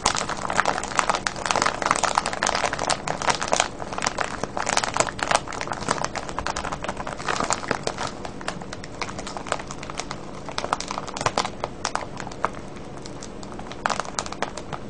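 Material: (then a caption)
Plastic film. Fingertips scratch and crinkle the surface of a full, clear plastic cellophane bag of wrapped candies with a red label. A dense, steady stream of sharp, bright crackles and crinkles runs for about fifteen seconds, each snap dying away almost instantly over a faint low hum.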